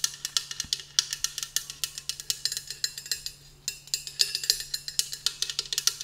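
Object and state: Metal travel tumbler tapped with nails.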